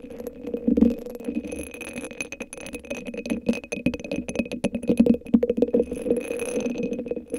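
Long acrylic nails scratch and tap a hand-sized hollow cylinder sleeve covered in purple rhinestones, resting on top of a microphone. A dense run of short, dry clicks and scratchy rattles sits over a hollow, low-mid resonance, with busier bursts near the start and end.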